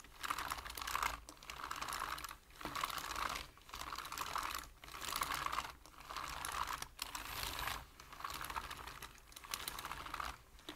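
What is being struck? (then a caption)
Plastic computer keyboard. Fingertips of both hands tap fast on a black plastic computer keyboard with hollow keys. Rapid, hollow plastic clicks come in bursts of typing separated by short pauses. The sound is bright and centred around 1.1 kHz, with little low end and no ringing between keystrokes.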